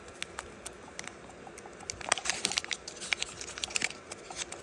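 Fingertips and thumbs crease, rub and crinkle a small, thin, hollow-folded piece of metallic gold foil origami paper while folding it into a crane. Quiet, bright crinkles and sharp crackling ticks come in scattered bursts, growing busier and denser in the second half with almost no low end.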